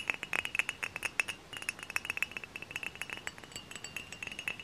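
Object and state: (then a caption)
Glass bottle tapped with fingernails. Long fingernails tap and scratch a tall, hollow, dark glass cider bottle up close, making a rapid run of bright, glassy clicks and clinks. Each tap rings briefly at a steady pitch around 2.6 kHz and dies away almost at once, with little low end beneath the scratchy high detail.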